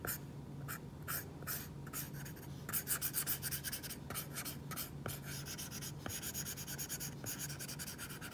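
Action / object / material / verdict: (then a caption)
scrape / plastic stylus tip on a glass tablet screen with matte plastic protector / glass, plastic / none. A plastic stylus tip draws many short line strokes of a crown drawing on an iPad glass screen fitted with a matte plastic screen protector, a flat solid surface. Quick, bright scratchy strokes rasp in bursts over a steady low hum, with a few sharper ticks where the tip lands.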